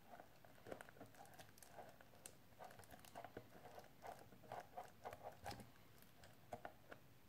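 Painted fingernails tap and scratch along the edges and face of a small, hollow, rectangular clear plastic case with something wrapped inside, held upright in both hands. The result is a quiet, uneven patter of short, light clicks with a faint hollow ring, mixed with soft scratching.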